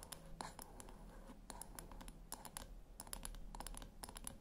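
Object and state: Small round metal speaker tapped with nails.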